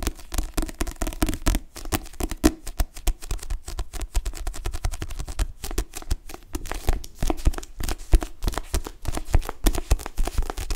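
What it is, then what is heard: Paperback book. Fingertips and nails tap rapidly and grip the back cover of a dark paperback book with a glossy cardstock cover, held in both hands. The dense, dry taps and rubs are mostly low and dull with very little brightness, and each stops almost instantly with no ring.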